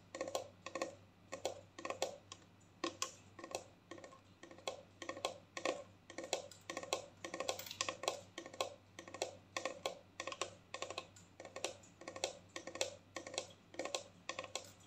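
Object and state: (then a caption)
Plastic bottle with liquid. Long painted fingernails tap a clear plastic mouthwash bottle with a black cap, which holds liquid and rests in the other hand. The result is a fast, irregular run of short, dry clicking taps with a hollow midrange tone and bright edges. Each tap dies away almost at once over a faint, steady low hum.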